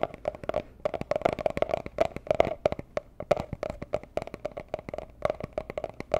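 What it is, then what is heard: Small cardboard gift box. A small, hollow, rigid teal cardboard gift box of the jewelry-box kind is tapped rapidly with long nails and fingertips. The result is a steady stream of short, dry clicks, each carrying a hollow resonance around 645 Hz, with only a faint bright edge.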